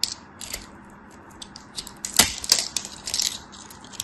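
A craft knife blade scrapes scored cubes off a solid green bar of soap that is already partly carved away, and the pieces crumble off. Dry, crisp, bright crackles and ticks come in an irregular run, with a sharper, louder crunch burst near the middle before settling back into light crumbling.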